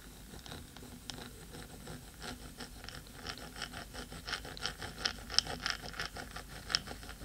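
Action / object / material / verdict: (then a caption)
scrape / metal microphone housing / metal / none. Long pointed nails of both hands scratch the black metal top of a 3Dio microphone with a hollow housing. The result is quiet, irregular, bright scratching and tapping with short sharp flicks that die away almost instantly. A few louder clicks stand out toward the end.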